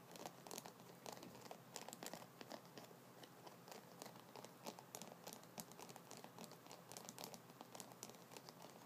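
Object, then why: Wooden massage brush with wooden nubs. Fingertips and nails scratch and tap the wooden nubs on top of a solid wooden massage brush held horizontally with its handle out, white bristles below. The result is a steady, quiet stream of dry, crinkly scratching dotted with quick, bright clicks from the taps.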